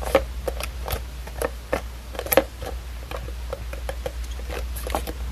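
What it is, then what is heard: Hardcover book. A small red hardcover book with a paper-covered board cover is held upright while long acrylic nails tap and scratch its cover and spine. Short, dry clicks with a hollow mid tone land at an irregular pace. They are mixed with faint scratching over a steady low hum.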